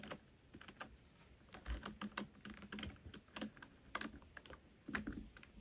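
Fast typing with fingertips and nails on a full-size black plastic computer keyboard resting on a wooden desk. It gives a quick, irregular stream of short, crisp key taps with a soft hollow thump under them, and a few louder taps stand out.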